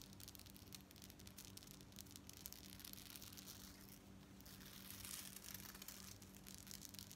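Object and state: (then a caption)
Metal bead necklace. Long coral nails rapidly scratch and tap along a worn long necklace of rows of small gold-tone metal beads on dark cord. The result is a dense, bright stream of crisp clicks and rasping scrapes over a faint, steady low hum, swelling slightly louder toward the end.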